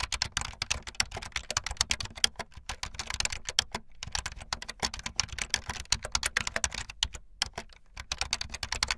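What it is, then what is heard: Plastic membrane keyboard. Fast typing on a full-size, backlit plastic Bluetooth membrane keyboard with white and blue plastic keycaps and a hollow plastic body, with keys pressed by fingertips and the tips of long painted nails. A dense stream of short, bright, clattery clicks dies away almost instantly, with little low end and brief pauses near the 4-second and 7-second marks.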